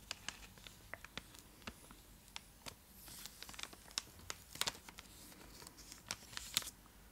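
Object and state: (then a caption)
Foil-lined plastic chocolate wrapper, full. Long acrylic nails scratch and tap a full, large purple Cadbury Dairy Milk chocolate block in a foil-lined plastic wrapper, held beside the face. The result is a quiet, irregular run of sharp, bright crinkles and clicks over a soft hiss, with a few louder snaps near the end.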